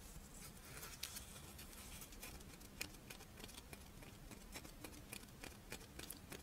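A crisp, Doraemon-shaped rice wafer monaka is held on its side while long nails tap and scratch along its ridged wafer edge and top. Quick, dry, bright ticks and scratchy crackles patter irregularly over a quiet, steady low hum, each tap dying away almost instantly.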